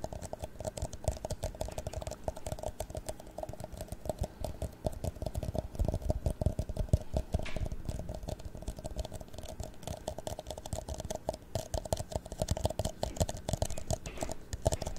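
Long nails and fingertips tap rapidly on a tall, thin-walled, empty, hollow clear plastic cup held sideways and upside down. The result is a dense, continuous patter of light, dull clicks with almost no ring, mostly low in tone with little brightness.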